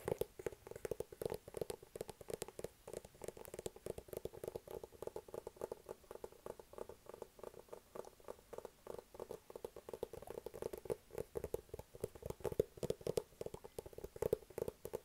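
Rapid fingertip and nail tapping on the surface of a hollow, medium-sized white cardboard iPad mini box held in both hands. The dense, quiet stream of short, dry taps carries a hollow tone centered around 445 Hz, with very little low rumble and almost no high content.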